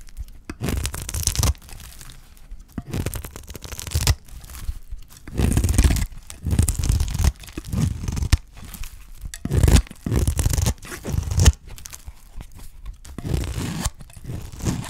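A solid, dry green soap bar held in the hand is shaved into curls with a utility knife blade. Repeated bursts of crisp, tearing scrapes with a crunchy, crinkling texture and bright edges sit over a heavy low rumble, with short quiet gaps between strokes.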